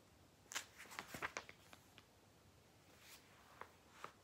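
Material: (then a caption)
Glossy paper. A thick, glossy Argos paper catalogue rests on a lap while fingertips grip, flip and rub its thin pages. Quiet, crisp, bright paper snaps and rustles come in a quick cluster early on, then thin out into softer sliding swishes and a few isolated ticks.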